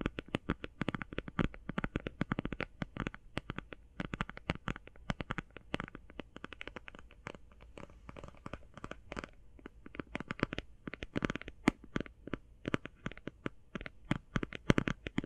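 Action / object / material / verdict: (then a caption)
tap / plastic eye shadow palette / plastic / none. Fast tapping on a plastic eye shadow palette produces a dense stream of quick, dry clicks with a hollow low thump under each one. The hits come too close together to count, with brief bursts of bright, crisp clatter and almost no ring after each tap.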